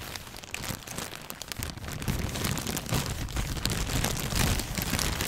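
A thin clear plastic bag with white contents is crumpled and rubbed with fingertips. It makes a dense, continuous crinkling with bright crackle over a soft low rustle. The crinkling grows louder after the first couple of seconds.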